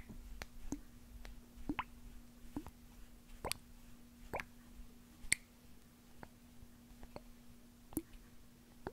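Fingernails tap and squeeze a small white plastic eye drop bottle with liquid inside, making soft, sharp clicks and plops at an irregular pace. A faint steady hum runs underneath, and each tap dies away almost at once.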